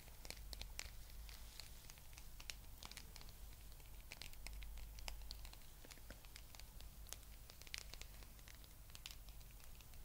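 Long nails scratch and fingertips rub over the spikes of a small blue rubber spiky massage ball held close to the camera. Soft, rapid crinkly scratches and taps patter continuously, with dry, bright clicks over a low hum. Each sound dies away almost instantly.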